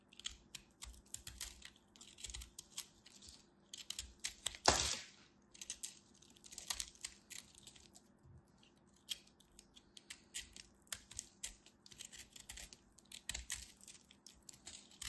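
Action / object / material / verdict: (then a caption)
scrape / bar soap carved with a craft knife / soap / none. A black craft knife scrapes and carves shavings off a small, solid cube of dry confetti bar soap with multicolored flecks, held in fingers with long white nails. Dense, crisp, bright scraping and crackling clicks run throughout, with one louder, fuller cut just before the five-second mark. Each scrape is short and dry, with almost no ring.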